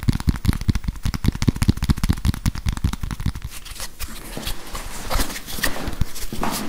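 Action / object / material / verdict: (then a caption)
tap / plastic whiteboard eraser with felt pad / plastic / none. A grey plastic whiteboard eraser with a felt pad and a barcode label on its plastic back is held close to the mic while fingernails tap and scratch it. For the first three and a half seconds, quick dull taps come in a rapid, uneven stream, heavy in the low end. After that they give way to softer, brighter scratching with a few sharper clicks.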